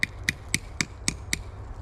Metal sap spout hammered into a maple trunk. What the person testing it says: just tap it in until you hear a thud